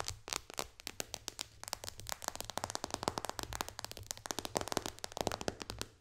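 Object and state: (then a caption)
Glass touchscreen tapped with fingernails. Long dark fingernails on both hands tap quickly across the glass touchscreen of an iPad lying flat on a lap. The result is a dense, fast run of sharp, bright clicks with no ring. A low, steady hum sits underneath.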